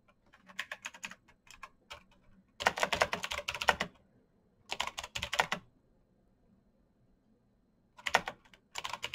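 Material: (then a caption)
Plastic. Fingertips type on a black backlit mechanical keyboard with plastic keycaps and clicky switches, producing sharp, bright clicks with almost no ring. Light scattered keystrokes give way to fast, dense bursts of typing separated by brief silent pauses.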